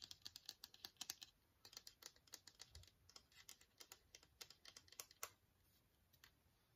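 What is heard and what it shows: A long, hollow, transparent hard plastic case, held horizontally, is tapped and scratched with long fingernails. Quick, sharp, bright clicks come in an uneven run with a soft scratchy hiss between them, each tap dying almost at once. The taps thin out toward the end, leaving faint scraping.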